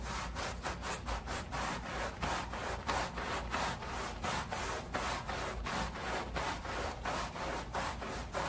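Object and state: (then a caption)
Woven pile rug being scrubbed wet. A long-handled wooden-block bristle brush is scrubbed back and forth across a flat rectangular woven pile area rug that is soaked and foamy with soap suds, lying on a plastic sheet. A steady, rhythmic wet swishing repeats at about 90 strokes per minute, each pass a bright, raspy bristle rub over a low, soft background.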